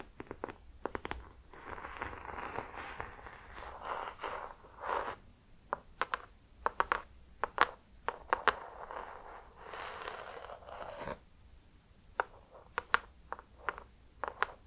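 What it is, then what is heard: Hardcover notebook cover, tapped and traced with nails. An ornate hardcover notebook with an embossed gold cover is tapped and traced with long nails and gold metal claw finger extensions. Sharp, bright clicking taps alternate with softer stretches of scratchy, mid-range scraping across the cover, all at a low level.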